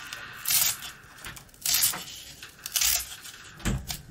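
A box-cutter blade slices a long, cylindrical, dry rusk stick held in the hand into rings and scrapes it. Four dry, crunchy rasps stand out, bright and hissy with little low end, between quieter scraping. The last cut ends with a soft low thump.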